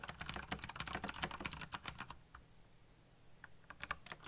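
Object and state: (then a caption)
Plastic mechanical keyboard. Fingertips type rapidly on a backlit black plastic mechanical keyboard, producing a dense run of sharp, bright clacks for about two seconds. The typing then stops, leaving a quiet stretch with a faint low hum, before a few scattered keystrokes return as the hand leaves the frame at the end.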